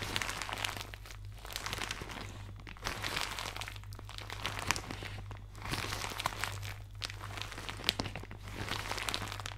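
A thin, soft, empty white plastic shower cap with blue polka dots is held to the side of the microphone and crumpled with fingertips and nails. It makes bright, crisp crinkling and rustling in waves of dense crackles, over a steady low hum.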